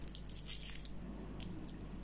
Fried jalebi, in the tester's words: শব্দ হচ্ছে, মচমচে শব্দগুলো আমি দেখাচ্ছি